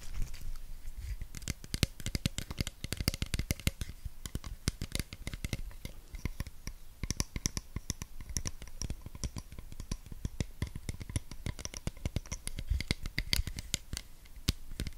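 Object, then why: Small plastic pump bottle, partly filled. Long red-painted nails rapidly tap and scratch the sides and white pump cap of a small clear cosmetic pump bottle, plastic or possibly glass, partly filled with liquid and held close to the microphone. The result is a dense, steady stream of crisp clicks and bright ticks over soft scratchy rustling, with a low thump beneath each close tap and almost no ring after the hits.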